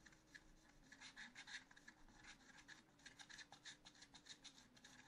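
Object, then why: Scratch art paper scratched with a wooden stylus. A wooden stylus scratches fine lines into the black coating of a scratch art paper sheet in a spiral notebook. It makes quiet, bright, dry scraping strokes in an uneven rhythm, with a faint steady low hum underneath.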